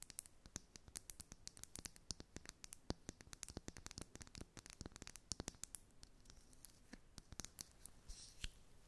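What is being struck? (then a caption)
Small liquid-filled glass bottle with plastic cap. A small glass bottle of Inglot All Covered foundation, filled with liquid and topped with a black plastic cap, is held in both hands and tapped and scratched with long acrylic nails. Rapid, dry, bright clicks and taps fall in a steady, irregular stream, with soft scratching between them. Each tap stops almost instantly with no ring, and the whole clip stays quiet.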